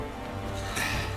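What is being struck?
Nothing is struck.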